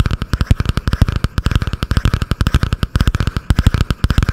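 Long painted nails tap and scratch fast on a butterfly-print spiral notebook with a cardboard cover, held just above the microphone. A rapid, uneven run of dry, thumping taps with heavy low-end weight and very little ring, mixed with faint scratchy rasps in the middle range.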